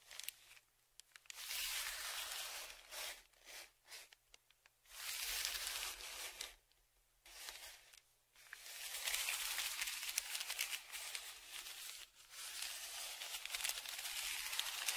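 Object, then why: Kraft paper padded shipping envelope. A dark, flat tongue-depressor-style stick scrapes and scratches across the crinkled surface of a large brown kraft paper Amazon padded mailer lying flat and held down by one hand. Bright, hissy scraping and crinkling strokes come in bursts of varying length, separated by short quiet pauses, with no low rumble beneath.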